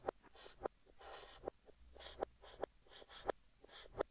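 A yellow stick of chalk, held in the fingertips, writes text across a large, flat green chalkboard. Soft, breathy, bright scratching strokes alternate with short, sharp, woody taps as the chalk meets the board. The whole clip is quiet and dry.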